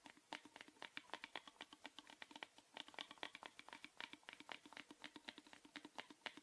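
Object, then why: Small plastic box. A small, hollow, orange plastic rectangular box is held in the hand and tapped rapidly with the fingernails, making a quick typing-like pattern. About 46 sharp, bright clicks with a hollow tone near 900 Hz each die away almost at once, with no low end. The overall level stays quiet.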